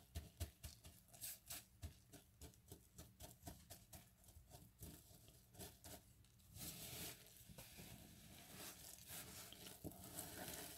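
Bare fingertips and palms rub, press and scoop through a loose pile of small, solid, dry cut bar-soap cubes in pale green and white resting on a yellow mat. A quick run of short, crisp crunches and crinkles gives way after about six and a half seconds to a denser, continuous bright rustle of the cubes shifting against each other.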